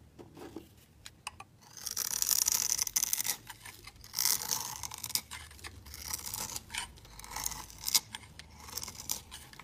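A solid, hand-sized, mint-green Protex bar soap is shaved into crumbly flakes with a metal utility blade. Dry, bright scraping strokes come in bursts, some longer drawn cuts and some quick short clicks, with almost no low end. Each stroke stops dead with no ring.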